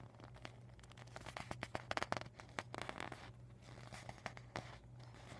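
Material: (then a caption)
Vinyl. A deflated vinyl beach ball, rolled into a tube on a dark table, is tapped and scratched by fingertips and medium painted nails. Quiet, crisp plastic taps and crinkly scrapes come in irregular bursts that peak near the middle, over a steady low hum.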